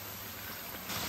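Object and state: Nothing is struck.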